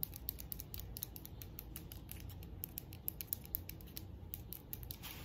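Long decorated acrylic nails tap and scratch the lid and sides of a small hand-held cylindrical metal herb grinder with a rose-gold copper finish. The taps start on its round top and move to its side. Quiet, rapid, bright clicks and scratchy ticks run throughout over a steady low rumble, each click dying away almost instantly.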